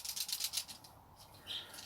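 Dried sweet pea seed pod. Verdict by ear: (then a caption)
Full. Dried brown sweet pea seed pods are shaken indoors, giving a quick run of about eight crisp, high, dry rattles from the seeds loose inside. The rattling stops, followed by a short, faint high rustle. The rattle shows the pods hold seeds.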